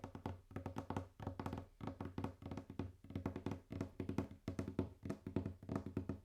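Fast, intense tapping and knocking on a wooden table, heard as quick bursts of short, dry wood knocks. Each knock has a low-mid, hollow tone and dies away almost at once, with no ringing.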